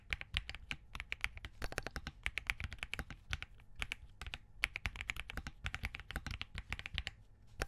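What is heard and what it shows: Both hands' fingertips type continuously on a compact Spark67 mechanical keyboard with Crane switches, a POM case and plastic keycaps. The result is a rapid stream of crisp, short clicky taps with a bright clack around 2.3 kHz and a soft low thump beneath each keystroke.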